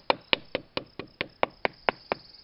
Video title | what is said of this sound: Oak Wilt Pressure Pad Hunting with Phillip Kurzeja, "The Oak Wilt Guy" (Spring 2017) | Doing the drumming just to listen for the change in tone. Listening for those hollow sounds, again.